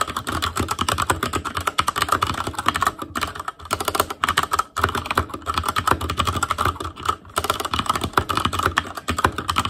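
Continuous two-handed fingertip typing on an ASUS ROG Claymore Core mechanical keyboard with Cherry MX Red switches, black plastic keycaps on a metal frame, and a hollow RGB-backlit housing. Dense, rapid clacking keystrokes run almost without pause, with a midrange click tone near 1.3 kHz and a few brief gaps between bursts.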